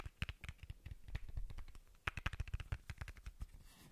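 A small, hollow white plastic bottle cap is held close to the microphone and tapped and rubbed with fingertips and short nails. About twenty quick, dry taps with soft low thumps and bright clicky edges stop almost instantly, broken by a brief stretch of rubbing and a short pause. A denser run of taps follows before the sound fades.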